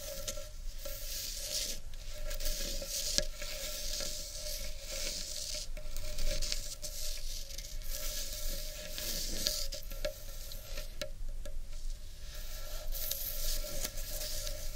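Long painted nails scratch the inner surface and rim of a large, hollow, empty carved wooden bowl. The result is a continuous, bright, hissy scratching texture with faint irregular ticks and a steady hum-like tone near 600 Hz underneath.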